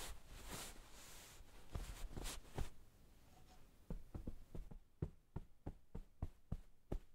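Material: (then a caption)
Flannel fabric. Hands in white satin gloves rub, smooth and pat a soft pillow in a blue flannel-like pillowcase with a sheep print, lying on a wooden table. Soft fabric brushing and rustling comes first, then a steady run of short, muffled, low pats on the cushioned fabric that die away instantly.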